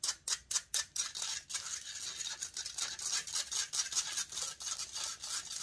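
Long nails scratch and fingertips rub the hollow metal mesh grille of a silver condenser microphone. A few separate, bright, hissy strokes open the clip, then the scratching grows dense and continuous, pulsing in rapid, rough swells with almost no low end.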